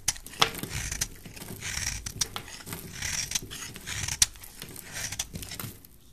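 A utility knife blade scrapes and cuts a solid rectangular yellow soap bar held in the hand, shaving it into crumbly pieces. Bright, dry scraping comes in bursts, punctuated by several sharp, crisp snaps as the blade cuts through, with faint rustling between strokes.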